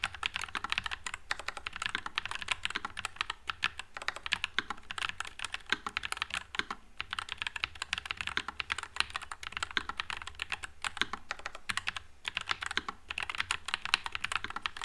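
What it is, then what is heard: Mechanical keyboard with plastic keycaps. Fingertips type continuously on a white low-profile Nuphy Air96 mechanical keyboard with Wisteria switches and plastic keycaps. The result is a steady stream of rapid, crisp, bright clacks with very short decay over a faint low hum.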